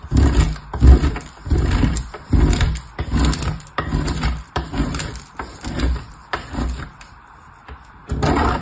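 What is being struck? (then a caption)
Soap bar on a metal box grater. A small purple piece of soap is rubbed by fingertips with long nails across the fine holes of a painted metal box grater. Repeated scraping, rasping strokes come in uneven bursts with a heavy low, rumbling texture. A quieter lull near the end gives way to one more stroke.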